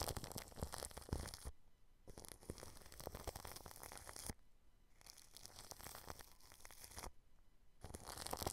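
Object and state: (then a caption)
Plastic cling film brushed over a microphone. A paintbrush brushes clear plastic cling film wrapped over a microphone grille, producing dense, close crinkling and rustling with bright, crackly detail and some low rumble. The brushing comes in four bursts separated by three brief, near-silent pauses.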